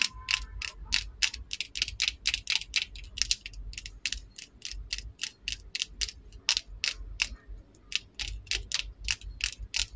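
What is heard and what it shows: Long, decorated acrylic nails tap and scratch along a slim, small, solid purple plastic lip liner pencil held in both hands. The result is a rapid, steady series of sharp, bright clicks that end almost instantly, over a faint low background hum.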